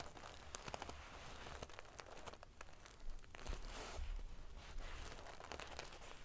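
Fingernails scratch and ruffle the metal pieces on a silver metal paillette (sequin-covered) pillow. The result is a dense, prickly crinkling and rustling of many small bright clicks over a low rumble, swelling slightly in the middle of the clip.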